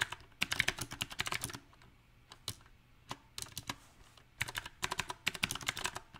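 Fingertips type on a backlit compact mechanical keyboard with round typewriter-style plastic keycaps on a silver metal frame. Bright, sharp clacks come in uneven bursts separated by short quiet pauses, each keystroke dying away almost instantly.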